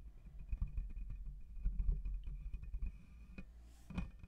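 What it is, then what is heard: Metal mesh microphone grille being scratched. Fingertips and nails of both hands scratch and rub the hollow metal mesh grille of a black USB condenser microphone. The result is a dense, muffled, low-pitched rumble of scraping and thumping, with a few sharper swells near the end and almost no high-frequency content.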